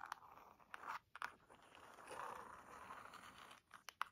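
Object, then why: Leather-bound hardcover book. Long nails scratch across the cover and spine edge of a burgundy leather-bound hardcover book. Quiet, dry scraping and crinkly crunching centre around 1.2 kHz, broken by sharp, brief ticks and short pauses. A longer continuous scrape runs through the middle.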